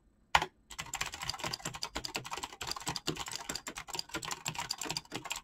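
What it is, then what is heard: Mechanical keyboard with PBT keycaps. Fast fingertip typing on a black mechanical keyboard with clicky switches and PBT plastic keycaps. A single sharp key clack is followed by a brief pause, then a steady, rapid stream of crisp, bright clicks with short, dry decays and little low end.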